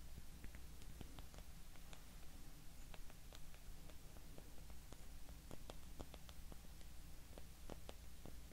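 Long nails tap the faces of a small, solid, light-wood cube held in both hands. Quiet, short, dry clicks come at an uneven pace over a steady low hum.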